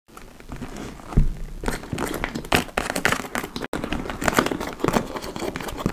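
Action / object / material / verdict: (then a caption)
scrape / leather tote bag / leather / none. Long acrylic nails scratch and tap across the laced front flap and top edge of a large, hollow, dark-brown leather (likely faux) tote bag. The result is a steady stream of crinkly, crackling scrapes with low, soft knocks, a heavier thump near the start, and a brief cut-out midway.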